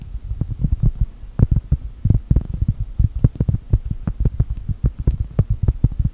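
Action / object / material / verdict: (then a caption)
tap / round cork coaster / cork / none. Long gel nails tap and scratch rapidly on a solid, round cork coaster printed to look like a cookie. The result is a quick, uneven run of soft, dull, low thuds with almost no ring, plus faint scratchy ticks between them.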